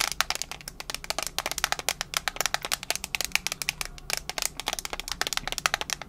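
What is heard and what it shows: Long nails tap and scratch the lid of a small, hollow, rectangular metal mints tin held in one hand. The result is a rapid, continuous stream of sharp, bright clicks with very short ring and little low end.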